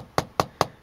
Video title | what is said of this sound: HP Pavilion g6z Video Review | it's plastic but it doesn't Flex it's actually built pretty well